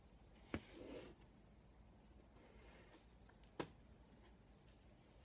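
Fingertips hold a piece of chalk and draw a circle in a tic-tac-toe grid on a flat black chalkboard with a wooden frame. Soft, dry chalk scratching and a brief airy scrape on the board surface are punctuated by two sharp clicks of chalk striking it, over quiet background hiss.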